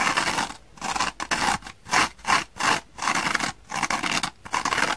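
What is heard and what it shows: Long painted fingernails scratch and rub the dark green abrasive nylon scouring layer of a small dry kitchen sponge held in the hands. The result is repeated bright, rough scraping strokes separated by brief silent gaps, with almost no low end.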